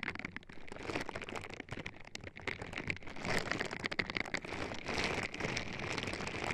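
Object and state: Silicone bristle gloves rubbing silicone microphone ears.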